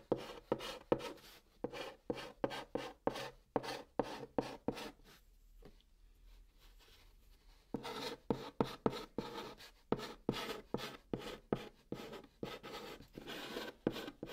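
A white chalk stick held in the fingertips writes Korean letters on the top of a large, flat, hollow brown cardboard box, scratching the surface. The result is a rapid series of short, dry, scratchy strokes with a bright, papery rasp and almost no ring. The strokes fall quiet for about two seconds midway, then resume at the same brisk pace.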